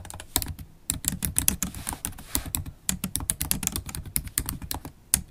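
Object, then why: Laptop keyboard, plastic keys in metal body. Fast typing with long stiletto acrylic nails and fingertips on a MacBook Pro laptop keyboard, its low-profile black plastic keys set in a silver aluminum body. Dense, rapid clicks and taps come in quick bursts, each with a bright nail tick over a soft low thud and almost no ring. A brief pause falls in the middle.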